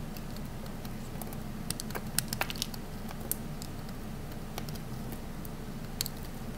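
A small remaining piece of solid pink bar soap, held in the fingers, is sliced and scraped with a metal utility knife blade. Short, crisp, bright clicks and crunches sound over a steady low hum, with a few sharper snaps standing out near the middle.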